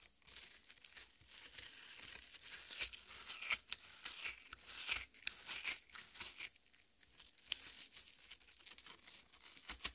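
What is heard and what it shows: Long red-painted nails dig into and scratch the exposed red, juicy flesh of a half watermelon with green rind resting on a plate. Soft, wet, crackling tearing and crunching scrapes come in an irregular stream of quick, bright bursts with almost no low end, each dying away almost instantly.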